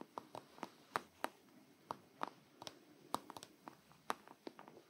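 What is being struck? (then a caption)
Soft plastic squeeze tube of shaving cream. A small black soft plastic squeeze tube of shaving cream, probably filled, is held upright in both hands and tapped with the fingertips and long nails. About 17 quiet, short, dry taps and clicks come in an irregular rhythm, centered around 1.2 kHz with some bright edges and almost no low end.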